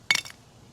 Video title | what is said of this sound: Making BIO-nic Biochar! #9a #garden #gardentips #8b #floridagardening #gardening #growyourownfood | it kind of sounds like glass. You want it to be like that.